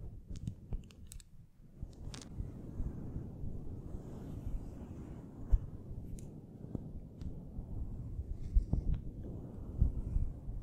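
Both hands with long nails scratch, rub and rake their fingers across a fluffy synthetic faux fur windscreen that sits soft and hollow over a studio microphone's capsule. The result is a continuous, muffled low rumble of dense rustling, with occasional sharp, bright clicks and ticks cutting through.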